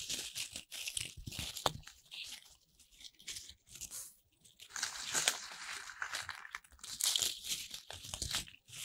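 A handful of small, soft corn starch foam playcorn pieces held in the palms are squeezed, crushed and rubbed by fingertips and long red nails, and a few are pressed into a lump. The result is bright, dry crinkling and crunching with a tearing-like rustle, coming in uneven bursts separated by brief quiet gaps.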